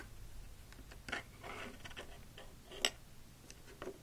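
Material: Plastic.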